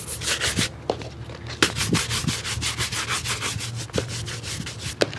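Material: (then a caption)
Leather. A wooden-backed bristle shoe brush is rubbed briskly back and forth over a dark leather shoe with a rubber sole, held hollow and empty in the lap. Rapid, dry, bright bristle swishes follow one another steadily, with a few short, sharp knocks where the brush catches the shoe.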